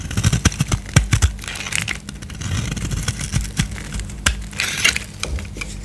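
A solid white bar of soap with a gold-painted surface is held in the hand and shaved with a utility knife blade. Quick, dry crackling scrapes and sharp clicks come in bursts with bright, gritty edges, over a steady low hum.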